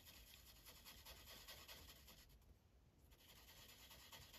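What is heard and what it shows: A blue Sharpie felt tip is rubbed in coloring strokes across a thin white coloring page on a plastic clipboard. It makes a steady, bright, scratchy rasp of quick back-and-forth strokes, about two and a half per second, with a softer lull just past the middle before the strokes pick up again.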